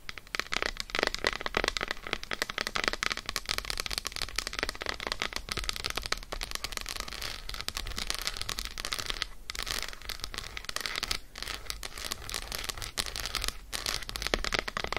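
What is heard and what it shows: Long acrylic nail tips fast-tap an unwrapped solid dark chocolate bar lying on faux fur. A steady stream of rapid, crisp, bright clicks with almost no ring runs throughout, with a few brief pauses.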